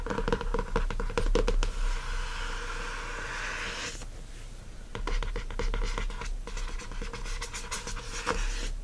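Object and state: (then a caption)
Laminated hardcover notebook cover. Fingertips and nails of both hands rub and scratch the glossy laminated board front cover of a hardcover spiral notebook, printed with a watercolor design and lying flat on a fluffy rug. Quick dry scratching ticks give way to a steady, bright rubbing hiss that eases into a quieter stretch before the rapid scratching picks up again.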